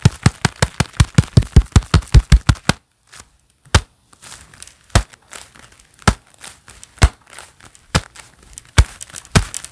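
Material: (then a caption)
Leather. Hands wearing a pair of black leather gloves clap in a quick, steady run of dry, thudding slaps for about three seconds, then fall silent. Slower, scattered claps follow, separated by soft rubbing and crinkling of the leather.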